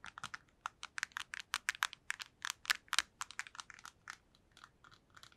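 A black PSP handheld game console of hollow plastic is held near the microphone and tapped rapidly with long nails. About 23 quick, sharp, bright clicks come in an uneven patter. Each tap is dry with almost no ring, and the taps soften toward the end.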